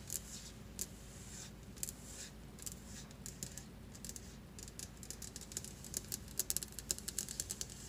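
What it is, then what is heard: Stone countertop. Long glittery acrylic nails on both hands tap and scratch fast across a large, solid white marble-look stone kitchen counter with a flat surface. Sharp, bright clicks with no ring-out come in quick, uneven bursts over a low, steady hum. The taps grow denser and slightly louder toward the end.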